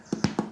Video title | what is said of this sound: Como hacer pan rústico con avena en la superficie una receta fácil para practicar en su hogar. | Le damos un golpecito tanto por arriba y por abajo y suenan bastante huecos.